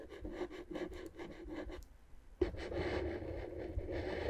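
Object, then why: Inflated plastic air-column packaging. A wooden stick scratches and taps the hollow, air-filled tubes on the left side of clear inflated plastic air-column cushion wrap. A quick run of rhythmic, rasping strokes with a hollow low-mid tone gives way to a brief near-silence. A sharp tap then starts a steadier, denser scratching that carries to the end.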